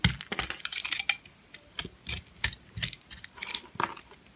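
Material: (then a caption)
Soap. A metal blade shaves and scrapes thin flakes off a purple, hand-sized, solid, dry bar of soap with a bubble pattern held in the palm. A dense flurry of crisp, bright scraping crackles at the start gives way to sparser, separate clicky scrapes, each dying away almost instantly.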